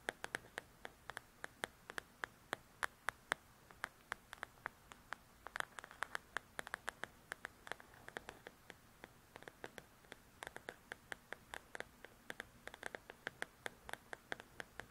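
Long pointed nails scratch and tap rapidly on the paper cover of a large, thin paperback coloring book lying flat on a table. The result is a quick, steady stream of dozens of dry, crisp clicks around 1.6 kHz that stop instantly, with light scratchy rustle between them and almost no low end.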